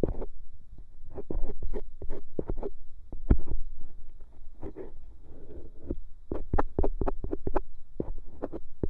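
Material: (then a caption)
Silicone. A thin bamboo ear pick repeatedly scrapes inside the hollow ear canal of a white silicone microphone ear. The result is a close, muffled run of low thumps and rustling scrapes, broken by short, sharp clicks with brief bright edges.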